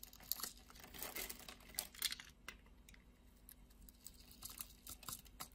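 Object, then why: Glycerin soap bar cut with a knife blade. A utility knife blade scrapes the surface of a solid, translucent red glycerin soap bar held in the hand, cutting it into cubes. The result is quiet, crisp, bright crinkling and scratching with rapid, short clicks that come in bursts, over a faint steady low hum.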